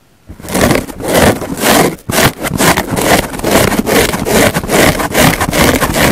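A large green porous foam car sponge with big pores lies flat with a microphone resting on it, and long nails and fingertips scratch and squeeze it. After a brief silence, dense, crackly scraping and rustling fills the clip in loosely rhythmic strokes, with a short drop just after two seconds. The texture is broad and gritty from low thumps to a bright hiss, with the fullest energy in the low mids.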